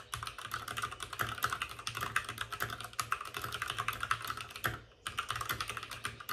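Both hands type rapidly with their fingertips on the plastic keycaps of a white, backlit RGB mechanical computer keyboard resting on a desk with a padded wrist rest. The result is a dense stream of short, bright, clicky taps with a mid-high clack, broken by a brief pause near the five-second mark before the typing resumes.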